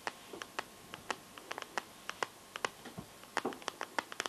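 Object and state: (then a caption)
Smartphone in plastic case. Painted nails tap and scratch the back and camera area of a smartphone in a transparent teal plastic case. About 21 sharp, dry clicks land in an uneven rhythm, each dying away almost at once, with brief scratchy rasps between them. The sound is thin and bright with almost no low end.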